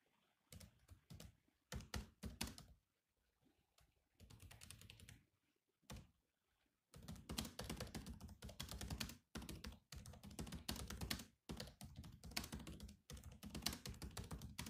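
Fingertips type on the black plastic keys of a silver laptop keyboard in quick, uneven bursts separated by brief pauses. Each tap is a short, dry click with a low thunky body and a bright top, dying away almost at once. The typing grows denser and more continuous toward the end.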